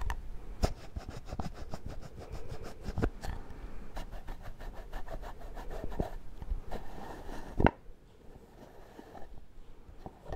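A small, round, cream-colored plastic shaving cream tub with a screw lid, apparently filled with product, is tapped and handled with fingertips and nails, including on the lid. Quick, dense, dull tapping and light rubbing dominate, with a few sharper clicks standing out. The sound thins to softer, sparser taps near the end.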